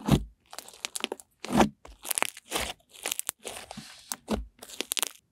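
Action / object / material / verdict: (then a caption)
tap / fluffy slime / slime / none. Pink fluffy slime is held in one hand and poked with the fingertips of the other. Soft, irregular crackling and squishing bursts with small bright pops follow one another with short gaps between them.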